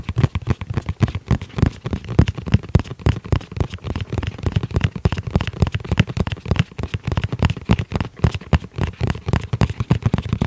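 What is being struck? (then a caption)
Hard-shell zippered case. Fingertips tap and scratch the shell of a tablet-sized, rigid, hollow black hard-shell zippered case held in the hands. A rapid, continuous stream of short, dry, hollow low thuds is heard, interspersed with faint scratchy strokes across the surface.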